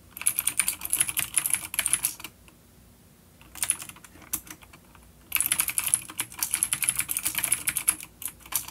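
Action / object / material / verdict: tap / plastic mechanical keyboard / plastic / none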